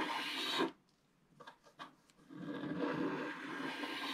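A wooden stylus scrapes the black coating off a flat scratch-art paper card resting on a table. A bright, raspy scrape is followed by a short pause, then three quick, separate short strokes. A longer, steady stretch of scratching carries on to the end.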